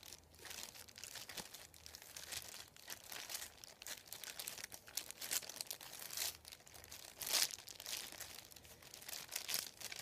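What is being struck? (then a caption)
Thin printed paper sheet. Fingertips scratch and rub across a thin, white, folded printed paper sheet lying on a wooden table. The result is a quiet, continuous, bright crinkling and scratching, made of dense short rustles with occasional louder, sharper swipes and almost no low end.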